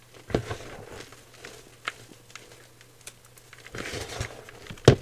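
Fingertips squeeze and crumble a dry mound of white gym chalk powder (magnesium carbonate) in a clear bowl, making soft, crunchy crackles and crinkles. The crunching comes in short bursts over a faint steady low hum, with a busier stretch near the end and a sharper crunch at the close.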